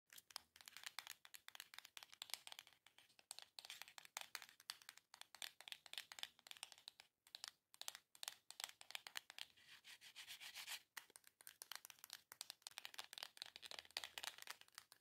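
Long nails rapidly tap and scratch the printed face of a small, long, hollow cardboard Armocromia box. The result is a dense, quiet stream of crisp, dry clicks and scrapes, bright and papery with almost no low end, each sound dying out almost instantly.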